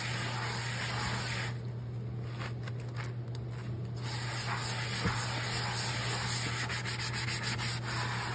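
A hand scrubs a large, round, black cast iron skillet, empty and soapy, in circles with a yellow scrubbing sponge. The result is a steady, gritty rubbing hiss that spreads from low to bright, over a constant low hum near 109 Hz. The scrubbing eases slightly in the middle before returning to full strength.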